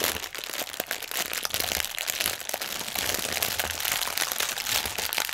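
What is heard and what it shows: A strip of clear, hollow, inflated plastic air pillow packaging resting on a table is pressed and crinkled with the fingertips of both hands. The result is a dense, steady stream of bright crinkling and sharp crackling with little low end, each crackle dying away almost instantly.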